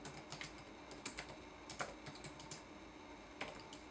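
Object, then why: Plastic laptop keyboard keys. Fingertips tap the plastic keys of a red-backlit laptop keyboard in a typing motion. The result is a quiet, irregular run of short, bright clicks with very little low end over a faint steady hiss.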